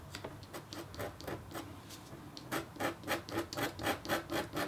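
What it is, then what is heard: Copper foil scratch art board. A red-handled, metal-tipped stylus makes rapid, short scratches across a flat, black-coated copper foil scratch art sheet. The dry, rasping strokes start soft and blurred together, then grow louder and more distinct in a steady rhythm, each with a bright, hissy edge.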